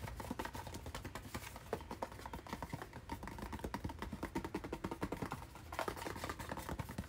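Fingernails rapidly tap and scratch a hollow, hand-sized white and blue cardboard retail package with a hang tab, held up in the hand. The result is a dense stream of dry, short clicks and scrapes with a hollow, low-to-mid tone and almost no ring, and bursts of tapping come in uneven waves.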